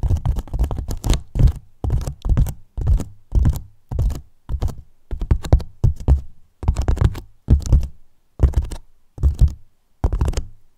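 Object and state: Polyethylene foam box tapped and thumped.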